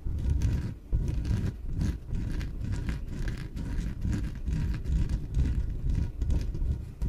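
Long nails scratch the surface of a small yellow, hollow, air-filled inflatable PVC exercise ball. The result is a steady stream of low, muffled scraping and rubbing, with brief dips between strokes and almost nothing in the high range.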